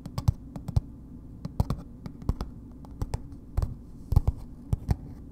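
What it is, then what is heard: Paper-wrapped bar soap. A palm-sized, solid Dr. Bronner's bar soap in a red printed paper wrapper is held in the hands and tapped and scratched with long nails. Slow, irregular, crisp taps with a dull, low body stand out over a soft, papery scratching texture. Each tap stops almost instantly, with no ring.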